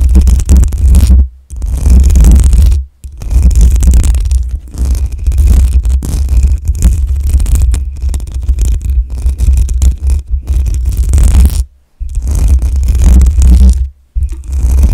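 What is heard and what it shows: Long nails scratch intermittently across the hollow metal mesh grille of a black USB microphone, with the hands hovering between passes. The result is a loud, deep, boomy scraping rumble broken by a few brief silent gaps.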